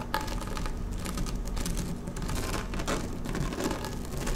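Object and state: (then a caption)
Woven vinyl placemat. Long nails slowly scratch across a flat, dark blue woven PVC placemat lying on a table. The result is a steady, dense scratching made of many quick crackly ticks and soft rasps, over a constant low rumble with only faint brightness.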